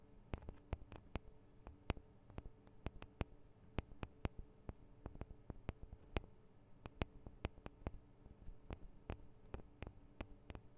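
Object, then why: Metal microphone capsules of a handheld recorder. Long acrylic nails tap the small hollow metal microphone capsules, with their metal guard wings, on a Tascam DR-40 recorder. About thirty quiet, sharp, dry clicks come in an uneven rhythm, each dying away almost instantly. A steady low hum runs underneath.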